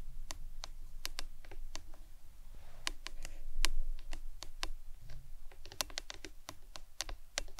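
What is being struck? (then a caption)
Plastic tumbler cup. A printed plastic lemonade tumbler cup with a green lid, hollow and lying on its side on a towel, is tapped with long acrylic nails. Quick, uneven clicks ring out as sharp, bright ticks over a low background rumble, each dying away almost at once. About 23 separate taps are heard.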